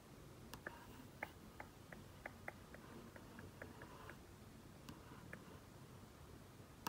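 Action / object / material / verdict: tap / flat-panel TV screen / plastic / none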